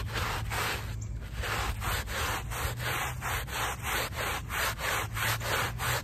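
A handheld plastic bristle brush scrubs the back of a small, wet, soapy woven rug lying on pavement in long, steady strokes. The result is a rhythmic, wet, rasping scrub of about three strokes per second, with short gaps between strokes. A steady low hum and a faint high whine run underneath throughout.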